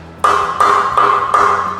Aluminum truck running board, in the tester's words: they are no means solid they are actually Hollow um you can actually hear it